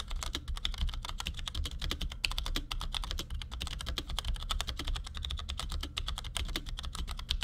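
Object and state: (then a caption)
Plastic mechanical keyboard being typed on. Fast, steady typing on a compact black plastic Cherry G84-4100 keyboard with ML switches, resting on a desk and tapped quickly with the fingertips of both hands. Each keystroke is a short, dry, bright clack with a sharp tick near 2.7 kHz that dies away almost instantly, over a constant low rumble. The taps run together in an unbroken, even patter.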